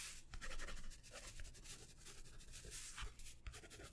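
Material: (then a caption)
Paper. A plastic ballpoint pen scratches and writes across a small white paper notepad of thin stacked sheets held in the hand. The pen makes quiet, continuous scratchy strokes with bright, hissy bursts over a soft low rumble.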